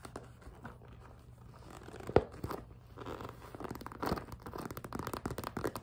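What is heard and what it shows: A small, empty, clear PVC cosmetic pouch with a zipper and pink trim is gripped, squeezed and scratched with long nails. The vinyl gives off soft crinkling, scraping and squeaky rubbing. A sharp crackle comes near the two-second mark, and the scratching grows busier and louder toward the end.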